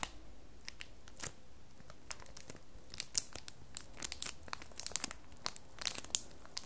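A solid square bar of red soap in clear printed plastic wrap is held up while long nails tap and scratch the wrapped surface. Quiet, bright crinkles and sharp ticks come in a dense, irregular stream of short, dry bursts, with no ring after each one.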